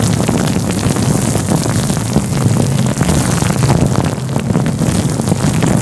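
Fingertips rub and scratch a fluffy grey-white synthetic faux fur windscreen covering a microphone. The result is a steady, loud, muffled rumbling rustle, heavy in the low end, with faint scratchy crackles running through it for the whole clip.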